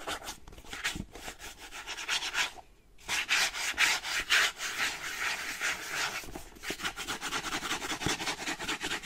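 Fingertips and painted nails rub and scratch across a small, closed, hollow kraft-paper cardboard box with contents inside. The result is a dry, bright, papery scratching in quick, uneven strokes, with a brief quiet pause near the three-second mark before the scratching resumes.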